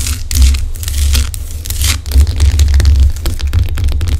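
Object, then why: Rock-salt lamp. Long acrylic nails scratch and tap the rough crystalline surface of a large, solid pink Himalayan rock-salt lamp. Dry, bright crackling scrapes and short, sharp taps sit over a steady low hum.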